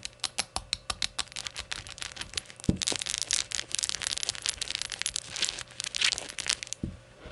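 Long nails tap and scratch along the glossy body of a small, hollow, empty rainbow-glazed ceramic shot glass lying on its side on a towel. A quick run of sharp, bright clicks gives way to dense, scratchy rubbing with more scattered taps. Two soft, low thumps sit within the otherwise high, crisp texture.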